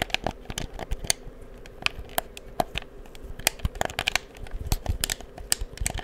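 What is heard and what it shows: Fingertips click the buttons and triggers of a black, hollow plastic PS4 game controller held in both hands beside the mic. The result is a rapid, irregular run of sharp, dry plastic clicks and taps, each bright, with a thin low thump. The clicks stop instantly with no ring, over a faint steady hum.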